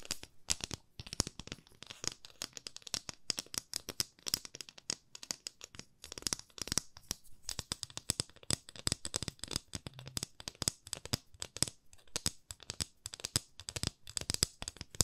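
A long, thin, solid wooden ruler with markings, held at both ends, is tapped and scratched with long nails. The result is a dense, fast stream of short, dry, bright clicks and light scratches with almost no ring, at a quiet level throughout.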